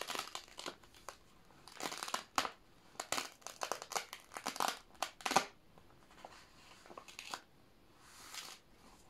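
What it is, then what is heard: Plastic sheet protector crinkling. A thin, flexible clear plastic sheet protector holding a red and white paper poster lies open on an old binder while both hands press, smooth and rub it flat with palms and fingertips. It gives a quick run of bright, dry crinkling and crackling bursts with short pauses between them, followed by a softer rustle near the end.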